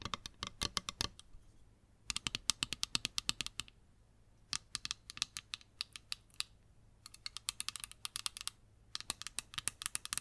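Long green acrylic nails tap and scratch the frame and lenses of small, hollow-framed, tinted plastic sunglasses with green lenses, held in the hands. Rapid, bright, dry clicks come in dense bursts separated by short pauses. Each tick stops almost instantly, with very little low end.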